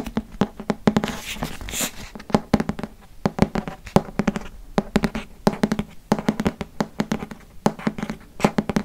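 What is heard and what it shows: Fingertips and nails tap on the cover of a green hardcover paper book held upright, making quick, irregular dry taps with a hollow, low thud and short, clicky tops that die away almost instantly. A brief brushing, scratchy stretch comes early on before the steady bursts of tapping resume through the rest of the clip.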